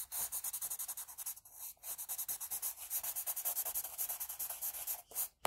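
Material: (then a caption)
Paper. A wooden HB pencil, held at a low angle, shades the hair area of a pencil portrait on flat drawing paper in quick strokes. The graphite gives a steady run of bright, dry scratching rubs with brief pauses near 1.4, 1.8 and 5.1 seconds. There is almost no low end.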